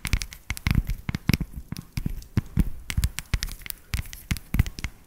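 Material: Chocolate.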